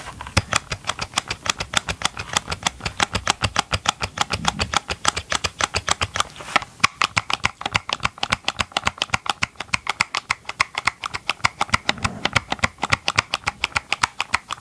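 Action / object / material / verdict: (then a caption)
tap / hollow plastic chainsaw engine cover / plastic / none. Gloved fingertips tap fast on the hollow green plastic engine cover of a chainsaw, held against the side of a microphone. A steady stream of rapid, sharp, clicky taps sounds bright and hollow, and each dies away instantly with no ring.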